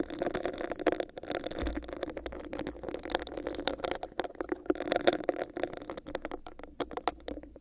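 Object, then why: Textured plastic cup. Long nails tap and scratch a hollow, clear, bumpy textured plastic cup placed over a microphone. The result is a dense, steady stream of quick crisp clicks and scratchy rasps with a hollow, boxy resonance in the low mids and bright ticks on top. A faint low hum sits underneath from about the second onward.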